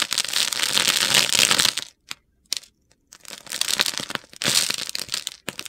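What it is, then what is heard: Bar of soap being carved. A metal utility knife blade shaves and carves a solid purple bar of soap held in a hand with long red nails. Long, bright, gritty scraping strokes crunch across the soap, broken by a brief quiet pause with a few sharp ticks, then the scraping resumes.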